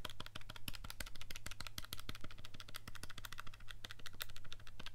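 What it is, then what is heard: Plastic calculator keys being pressed. An index fingertip rapidly taps and clicks the keys of a handheld black plastic scientific calculator with a hollow casing, held in one hand. The sharp, bright clicks come in a quick, uneven stream over a steady low hum.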